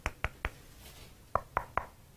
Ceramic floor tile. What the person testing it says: 有回声的那种感觉存在，那就是说这块瓷砖应该是空鼓的